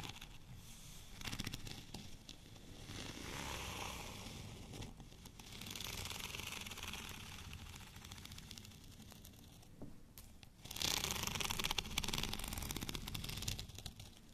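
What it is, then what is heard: Textured plastic rolling pin. Fingernails scratch back and forth over the bumpy texture of a white studded plastic rolling pin lying horizontally. The result is a dense, bright, crackling scrape with rapid ticking textures, swelling and easing in waves. It dips briefly around the five- and ten-second marks before a louder, harsher stretch near the end.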